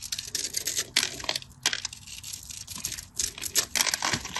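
A craft knife blade scratches and cuts into a solid cream bar of dry soap with a stamped face, held in the hand, scoring a grid and crumbling off cubes. Many quick, dry, bright crunching and scraping sounds crowd together with almost no ring and very little low end.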